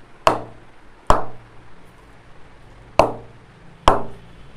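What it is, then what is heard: Willow cricket bat with good ping. A Kashmir willow hard tennis cricket bat is struck four times with a leather ball in a ping test. Each hit gives a sharp, short ping with a quick decay. The bat pings properly, and the ball leaves no marks on the face.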